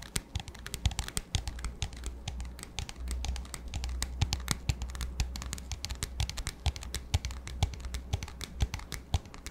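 Fingertips and nails tap rapidly and irregularly on an empty, clear, hollow plastic disposable cup with a black lid. Each tap is a short, dry, bright click with almost no ring, heard over a steady low hum.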